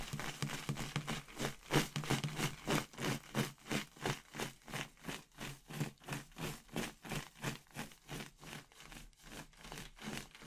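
A clear inflated latex balloon full of red and orange paper confetti, held by the knot in a hand with long red nails, is shaken so the confetti rattles inside. The result is a steady, rhythmic series of soft, bright swishing rattles, about three per second.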